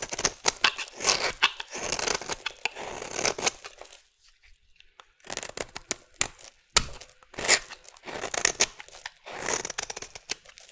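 A metal blade shaves thin orange curls from the edge of a solid rectangular orange bar soap, making crisp, bright scraping and crinkling strokes with almost no low end. The strokes come in dense bursts, with a brief near-silent pause in the middle before the shaving resumes.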